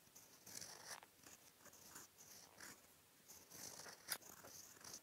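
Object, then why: Steel pen nib on paper sheet. A steel-nibbed fountain pen held in the fingertips writes dense handwriting strokes in brown ink on a flat sheet of white lined writing paper. Quiet, bright scratching comes in short bursts as the nib drags across the paper, with one sharper tick near the end.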